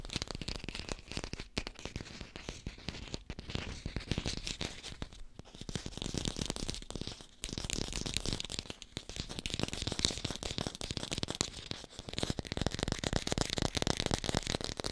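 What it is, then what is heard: Fake apple (artificial fruit). An artificial green apple held in the palm is tapped and scratched near the stem with long pink nails, producing a dense run of fast, crisp clicks and rough, crinkly scraping. The texture stays bright and busy throughout, dips briefly around the middle, then returns slightly louder.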